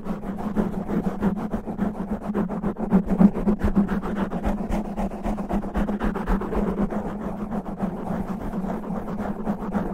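Natural fingernails scratch fast and rough across the top of a black foam microphone windscreen, making a continuous dense, rustling crackle. A steady low hum runs beneath the scratching throughout.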